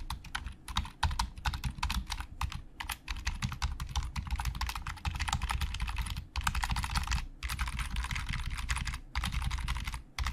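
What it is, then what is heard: Plastic computer keyboard. Both hands type with their fingertips on a black plastic Logitech full-size keyboard with hollow plastic keys, resting on a glossy desk. Rapid clicky taps carry a low, hollow thud beneath a bright clatter, with dense fast runs broken by brief pauses. The short, dry key strikes run steadily for the whole clip.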